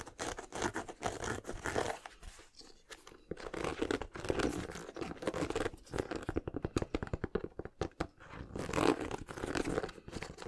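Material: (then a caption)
Rubber. Fingernails scratch and tap on an empty pastel Yeezy 700 sneaker with a mesh and suede upper, turned to show its textured rubber/foam sole. The clip is a dense run of crisp, papery scratches and quick dry taps across the sole and upper.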